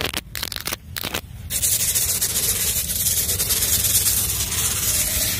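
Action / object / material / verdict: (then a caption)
scrape / loose dry sand scratched with fingernails / sand / none. Long blue nails and fingertips scratch and trace through a flat patch of loose, dry brown sand on the ground with yellow powder drawn on it in letters. A few short, separate gritty scratches give way to a continuous, bright, hissing scrape that fills the rest of the clip.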